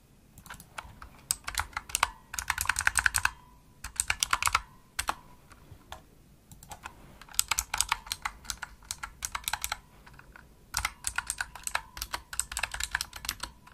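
Continuous typing on a pink Razer opto-mechanical keyboard with plastic keycaps, struck with the fingertips and nails. Bursts of rapid, bright, clicky keystrokes alternate with brief pauses, each click short and dry with almost no low end. No mouse clicks are heard.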